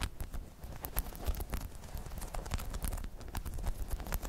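Long chrome nails scratch and tap a hollow, dome-shaped spiky rubber balance pod. Quick, soft taps and scratches patter along steadily, each with a dull, low, hollow thump and a bright, crisp tick. The taps die away almost instantly.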